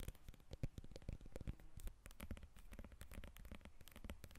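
Long red nails tap and scratch the peel of a whole yellow lemon, held and then resting on a glass table. The result is a quiet, rapid run of soft, dull taps mixed with dry scratching and crackly friction, mostly low in tone with short, clipped decays.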